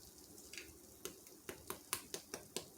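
The browned crust of shredded cheese, broiled on high for about four minutes atop an egg breakfast casserole with beef breakfast sausage, is scraped or tapped. It gives a series of sharp, dry, bright crackling ticks over a faint hiss, each dying away almost at once. The crust is fully crisped.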